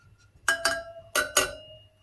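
A steel spoke on the rear wheel of a Suzuki DR200SE is tapped four times, in two quick pairs, giving short, bright metallic clinks with a steady mid tone that die away quickly. The spoke sounds dull and is judged loose, needing tightening.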